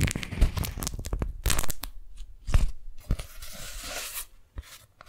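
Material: Waxed cotton.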